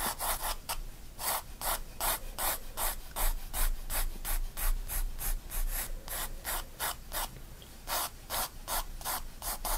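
A graphite pencil hatches curved lines on a spiral-bound paper sketchbook page, making a quick series of dry, scratchy rubbing strokes. Each stroke is a short bright hiss, repeating at a loose, uneven pace of almost three per second, over a faint low rumble.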